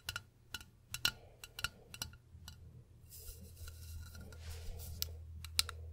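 Long pink acrylic nails tap a medium, hollow cobalt-blue glass bottle held up beside the microphone, tilted toward the end. Bright, sharp clicks with a faint high glassy ping come in an irregular series over a low hum. After the first half they thin out under a rising airy hiss, with a few stronger taps near the end.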